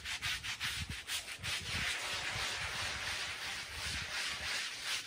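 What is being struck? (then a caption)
Woven wool-type pile rug scrubbed with a brush. A handheld brush is scrubbed in circular strokes over the pile of a small, soapy woven Persian pile rug of wool-type textile, which lies flat on a plastic sheet while the other hand steadies it. The result is a bright, hissing, wet scrubbing sound with quick, uneven strokes that blur into a near-continuous rasp, plus soft low thumps under the brush.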